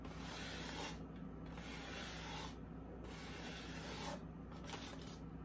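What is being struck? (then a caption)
Expanded-polystyrene foam insert. Long acrylic nails and fingertips rub and scratch the surface of a large white expanded-polystyrene foam packaging insert lifted from its box. Bright, hissy scraping strokes come in several long sweeps separated by short quieter gaps, over a steady low hum.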